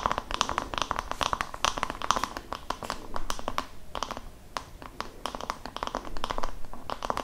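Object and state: Wooden massage brush.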